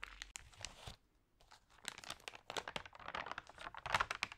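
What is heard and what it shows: Fingers with long nails rub and smooth the thin pages of an open paper magazine lying on a table, then turn them. The result is dense, bright crinkling and rustling, with a short quiet gap after the first second before quick crackly scratches and page movement resume.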